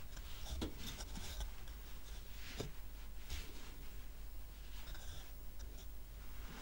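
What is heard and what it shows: Fingernails tap and scratch the top of a solid stack of square painted wooden coasters with a red heart design, tied with red-white twine. Soft, dry scratching runs throughout, with a few brief, sharper taps that die away quickly. Everything sits quietly over a steady low hum.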